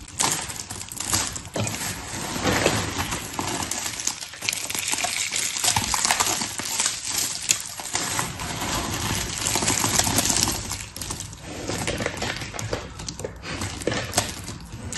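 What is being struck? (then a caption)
Loose pile of thin soap curls. A large loose pile of long, thin blue and pink soap curls is pressed down, rubbed and crumpled by hands with long red nails. The result is a steady, dense crackling and crinkling rustle, bright and papery, with many tiny overlapping clicks that swell and ease but never stop for the full length.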